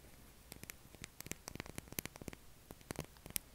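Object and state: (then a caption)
Bar soap. A pale blue solid oval bar of soap is scratched and tapped with fingernails, both held in the hand and resting on a table. About sixteen sharp, dry, bright clicks and taps are scattered over a quiet background of low hum and faint static, each dying away almost instantly.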